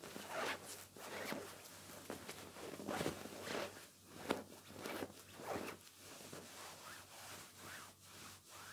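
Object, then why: Pillow in a cotton cover. Bare fingertips and palms rub, scratch and squeeze a large soft white pillow in what looks like a white cotton pillowcase, held against the body, then hug and crumple it. The result is a quiet, irregular run of soft rustling swishes and scratchy fabric strokes with bright, airy texture and a low steady hum underneath.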